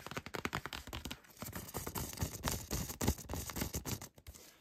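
Fingertips and nails scratch and tap the flat printed surface near the edge of a 12-inch glossy cardboard vinyl record sleeve with purple artwork, held close. The result is a quick, irregular run of dry taps and scratchy rubs with soft low thumps and no ringing, briefly easing off in a couple of spots.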